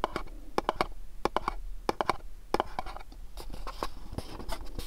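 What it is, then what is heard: Cardboard candle box. Fingernails scratch and tap the corners and faces of a small, dark, printed cardboard candle box. The result is a rapid run of short, dry taps with a hollow ring near 1 kHz, mixed with soft scratching. Each tap dies away almost instantly.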